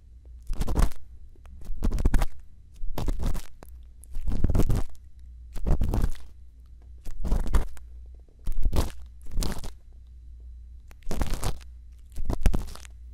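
A thin bamboo earpick scratches inside the canal of a white silicone ear microphone. About ten separate scratching and crunching strokes are heard, each a short rasping burst that rises into a bright hiss. A steady low hum runs underneath the whole clip.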